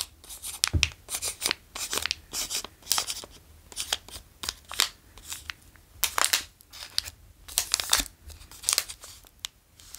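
A full Marabou Nougat bar in its plastic wrapper is held in the fingers, crinkled and traced with the fingertips. Bursts of bright, crackling crinkle noise come in rapid irregular clusters with short quiet gaps between them, and a few soft low thumps are mixed in.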